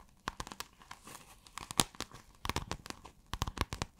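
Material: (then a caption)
Fabric. Long acrylic nails scratch across a pale blue, scale-textured iridescent fabric folded flat. The result is a quick, irregular run of about nineteen sharp, crinkly scratches with bright, tearing-like edges. Each one stops dead, leaving quiet gaps between bursts.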